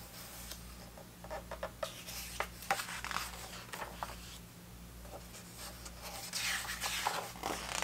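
Fingertips flip and rub the thick paper pages of a large vintage hardcover 1970s soccer book lying open. Soft, irregular rustling and papery flaps come through, with brighter crisp swells toward the end. A low, steady hum runs underneath throughout.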